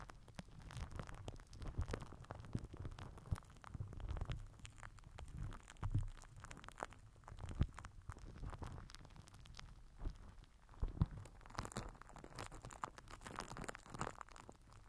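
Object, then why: Plastic cling film wrapped over a microphone head. A microphone head wrapped in crinkled purple plastic film is rubbed and scraped with the end of a plastic glue stick. A dense, muffled crinkling and scratching plays throughout, heavy in low rumble, with many quick crackles and a few louder pops standing out.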